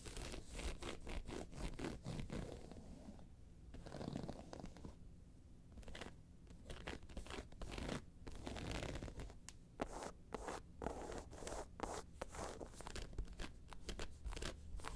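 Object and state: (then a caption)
Faux leather handbag scratched with fingernails. Long pointed nails of one hand scratch the round face of a round, hollow, tan croc-embossed faux leather handbag lying on its side. Quick, dry scratching strokes come in dense bursts with short pauses, each stroke dying away almost at once over a low, hollow rumble.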